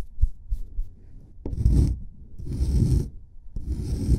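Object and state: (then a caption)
Plaster block being scraped. A solid plaster excavation block is brushed with a paintbrush, giving soft, low dull taps and rustles. It is then scraped with a metal chisel pick in three long gritty strokes with a bright, rasping edge. The scraping is heavy and low with short pauses between strokes.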